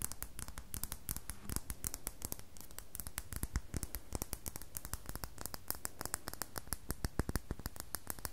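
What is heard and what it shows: Long fingernails scratch a solid red bar of soap, with some strokes catching against the table. Dozens of quick, dry scratching strokes come in a dense, uneven rhythm, each a short crisp click with a bright edge and a soft low thud underneath. The strokes grow sharper and more spaced out toward the end.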